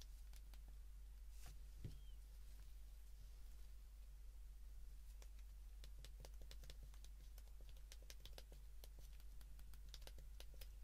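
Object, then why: Plastic flip phone keypad. The number keys of a white plastic flip phone, held in the hands, are pressed with a thumb and fingertip in a fast clicking rhythm. Quiet, sharp, bright clicks with a very short ring come in irregular bursts over a steady low hum.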